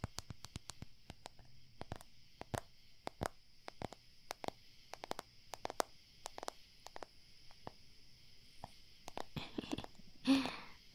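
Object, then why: Plastic CD case cover. Fingers tap steadily on the cover of a plastic CD case, making a long run of short, sharp, dry clicks with almost no ring. A faint, steady high hiss sits underneath. Near the end, a louder, rougher brushing burst swells briefly before the taps resume.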